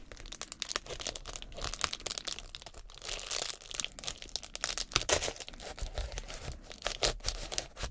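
Gloved fingertips crinkle and rub a large, flexible sheet of reflective foil-faced bubble insulation, a light, hollow-celled metallized plastic with air bubbles, with similar foil wrap lining the background. The result is a continuous, dense run of bright, sharp crackles and rustles that rise and fall in waves, mostly high in tone with little low end.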